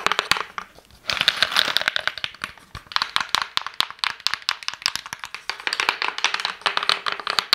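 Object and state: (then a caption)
Wooden cigar box. Long painted nails and fingertips tap and scratch a hollow, rectangular wooden cigar box with a Prince Charles label and its lid closed, while rings on the fingers may add light clinks. Dozens of quick, dry, bright clicks and scratchy rustles run almost continuously, with only a brief pause near the first second. Each tap dies out instantly with no ring and no low thump.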